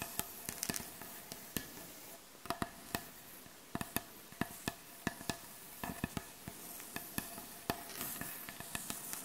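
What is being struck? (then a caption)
Wooden butcher block board. Long acrylic nails tap and scratch across the solid, light wooden surface of a butcher block board. Many sharp, dry clicks with almost no ring stand out over a soft, continuous scratching hiss, with a faint steady mid tone underneath.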